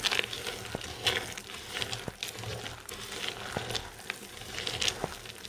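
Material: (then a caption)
Soap. Hands with long painted nails grab handfuls of loose, dry green and yellow soap chips and crush them. The result is a steady, bright, crackly crunching with sharp clicks scattered throughout. Louder bursts rise each time a fresh handful is squeezed.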